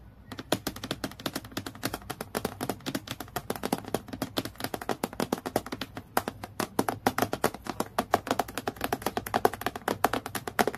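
Long nails tap very fast on the sheet of a clear acrylic plastic clipboard lying flat. The result is a rapid, uneven stream of sharp, dry clicks, each dying away almost instantly, with a light plasticky tone around 700 Hz.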